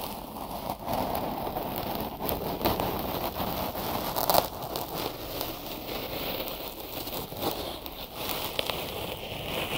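Fingertips tap and scratch white cotton gauze bandage wrapped over the ears of a binaural mic. The result is a dense, steady crackling and rustling with soft thumps and brief sharper taps.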